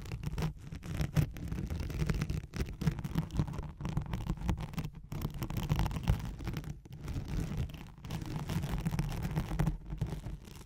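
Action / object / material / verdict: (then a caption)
scrape / nylon hook-and-loop sheet / nylon / none. Long nails scratch rapidly across a thin white nylon hook-and-loop velcro sheet laid over a microphone. The result is a dense, continuous rasping texture, heavy in the low end with fainter hiss above, broken by a few brief pauses.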